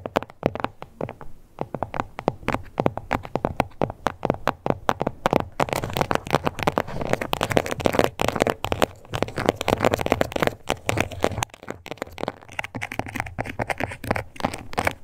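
Long acrylic nails scratch across the textured surface of a small, flat, glossy pink crocodile-embossed faux leather card holder. The result is a dense, continuous run of short, dry scratching and crackling strokes with a mostly midrange tone and a little bright edge.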